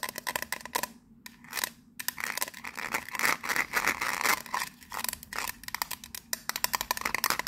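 Long nails rapidly scratch and tap a teal, ridged metal biscuit tin lid with a gold emblem. The result is a dense stream of bright, clicky taps and raspy metallic scraping with a faint tone near 1.8 kHz. The sounds die away almost instantly, with a few brief quiet gaps between bursts.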